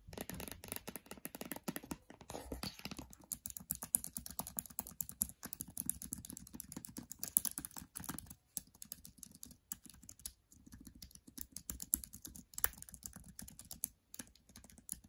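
Long dark nails tap and type on the plastic keys of a MacBook Air keyboard. The result is a fast, dense run of short, dry, bright clicks with almost no ring, broken by brief pauses around 8.5, 10.5 and 14 seconds.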